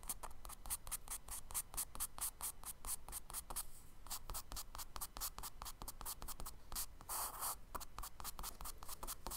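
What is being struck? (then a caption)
Charcoal stick on a kraft paper sketchbook page. A charcoal stick scratches quick tree branch strokes onto the solid surface of a tan kraft paper page in a spiral sketchbook. Rapid, dry, bright scratching bursts run back to back, with two longer, smoother rubbing passes partway through over a low, steady background hum.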